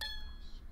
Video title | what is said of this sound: Beading Dreams: Engraved Crocus Pendant Tutorial | you want a nice high-pitched pinging sound